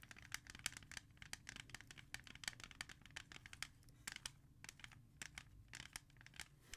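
The back of a CD in a clear plastic jewel case, held in the hand, is tapped and scratched quickly with long red nails. The result is a rapid run of sharp, bright plastic clicks over a soft, steady scratching hiss.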